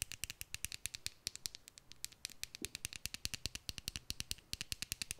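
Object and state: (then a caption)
Plastic glitter tube. Long nails tap rapidly on a small hollow plastic tube filled with red glitter, held upright. About 47 quick, dry clicks follow one another over five seconds, bright and crisp with almost no ring between them.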